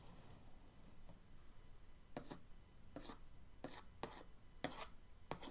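The end of an orange paintbrush traces lines across the lid of a printed cardboard paint-set box, producing a series of short, dry scratching and rubbing strokes. Each stroke is a brief, bright, papery swipe over a soft, low background rumble.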